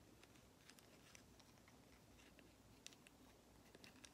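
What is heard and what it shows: A small, hollow, painted and lacquered wooden matryoshka nesting doll is held in one hand and tapped and scratched with long acrylic nails. The result is a quiet, irregular patter of light, bright clicks and soft scratching over a faint low hiss.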